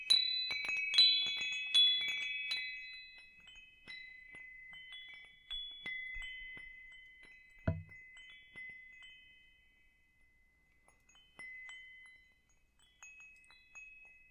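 A hanging wind chime made of hollow metal tubes with wooden parts is held overhead and swung close by, so the tubes clink together and ring. Bright, high metallic strikes come in a quick cluster at first, then more sparsely, each leaving sustained bell-like tones that slowly fade. A brief low thump sounds partway through.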